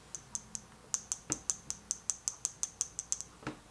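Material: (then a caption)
Mineral glass. A Seiko SNK800 wristwatch, with a matte case and Hardlex mineral crystal, is tapped 19 times in quick, uneven succession. Each tap makes a short, dry, high-pitched click that dies away almost instantly with no ring. The tapping sounds cheap, which is the reason the watch is rarely worn.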